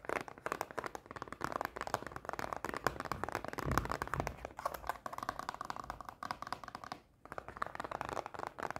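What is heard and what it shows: Long painted nails rapidly tap and scratch a closed, small rectangular cardboard Pocky snack box held in the hand. The result is a dense run of short, dry clicks and scratchy rustling centered in the midrange, with a brief pause near the seven-second mark before the tapping resumes.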